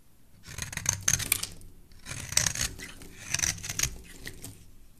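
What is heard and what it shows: A hand-sized, solid layered yellow and white bar soap, held in a hand with dark-painted nails, is scraped by a metal blade into curled shavings. Crisp, bright scraping strokes come in a few separate bursts, each a quick rasping pass with faint crackles and very little low end. There are quiet pauses between the passes.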